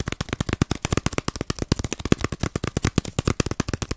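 A flat, round, palm-sized bamboo-sheath baren, a woodblock printing pad wrapped in dry bamboo sheath with a fibrous ridged surface, is held close and scratched and rubbed with fingernails. About thirty quick, dry scratchy bursts follow in a rapid, uneven rhythm over four seconds. Each is short and papery with a soft low thump and no ringing.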